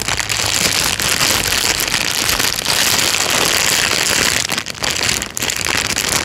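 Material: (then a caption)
Plastic. A thin, clear plastic bag is pressed flat, then lifted and crumpled with the fingers. The result is a dense, continuous, bright crinkling and rustling that stays steady and loud, with brief dips around the 4.5 and 5.3 second marks.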